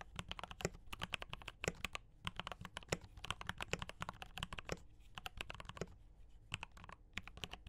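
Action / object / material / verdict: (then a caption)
tap / mechanical keyboard with plastic keycaps / plastic / none. Fingertips of both hands type fast on a D84 mechanical keyboard with brown switches and cream and red plastic keycaps. The result is a rapid, uneven run of short, sharp clacks with a low body and a bright click on top, each one dying out almost at once.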